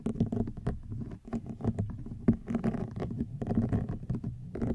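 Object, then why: Woven rattan basket. A woven rattan wicker basket is tapped and scratched with long nails, giving a steady run of dry, crackly taps and scrapes. The sound is low and woody, with quick hits that die away almost at once.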